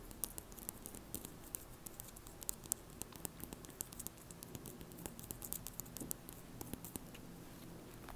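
Long nails rapidly flick and scratch the white plastic bristles of a red plastic hairbrush held upright. The result is a quiet, rapid, uneven stream of sharp, bright ticks and scratchy patter over a low, steady background rumble.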